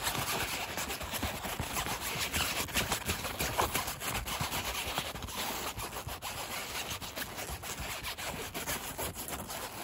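A gloved hand rubs and scratches the light blue polyester fabric seat of a folding camping chair, the fabric stretched taut over a metal frame above a hollow space, outdoors by a hedge. The result is a continuous, bright, raspy scratching with quick uneven strokes that rise and fall in loudness.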